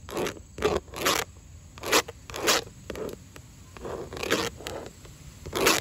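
Long orange acrylic nails scratch and tap across grey textured vinyl house siding, thin plastic panels with a visible seam. A series of short, raspy, zipper-like scrapes comes in separate bursts with bright, hissy highs. Quieter clicks sit between them, and there is very little low end.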